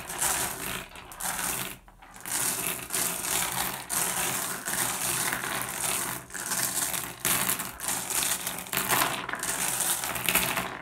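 A pile of small, solid, blue iridescent flat glass gems on a wooden surface is raked and shuffled by fingertips. The result is a continuous, bright clinking and rattling as the gems slide and tap against one another and the wood, with brief dips between strokes.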